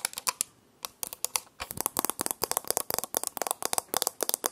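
A small round alarm clock with a grey metal-looking case and a glass or plastic face, held in one hand, is tapped and scratched around its rim and face with long painted nails. Rapid, sharp clicking taps come in quick bursts with a brief pause near the start, bright and dry with almost no ring and little low end.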